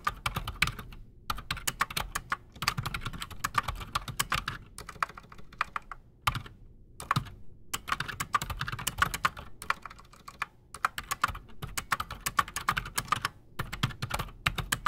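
A full-size black Redragon Shrapnel K589 mechanical keyboard with Outemu Silent Sky silent switches and Razer PBT plastic keycaps sits solid on a desk while both hands type fast with their fingertips. It makes rapid bursts of short, dry, muffled keystrokes with brief pauses between runs. Each key has a bright, clacky top and a soft low thump, and dies away almost instantly.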